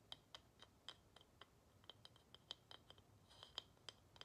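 A small, solid carved wooden plaque held in one hand is tapped and scratched with long nails on its flat back. About 18 quiet, sharp, dry clicks come at an uneven pace, with a bright tone around 3.1 kHz that dies away almost at once. Faint scratchy texture fills the gaps, and there is little low end.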